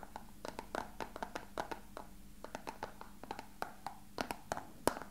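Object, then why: Small plastic box. A small, hollow, translucent rectangular plastic box is held in both hands and tapped with fingertips and short nails. The result is a quick, irregular run of light, dry clicks with a hollow midrange tone near 600 Hz, some sharper, brighter nail ticks, and almost no ring after each tap.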